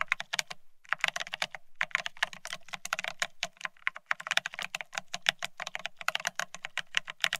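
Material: Plastic.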